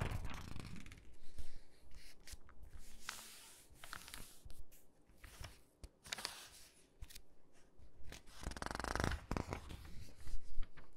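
Flat palms and fingertips rub across the open spread of a glossy paper catalog, making soft, dry swishing and papery crackles at a quiet level. Near the end, a page is lifted and turned with a louder, bright rustle.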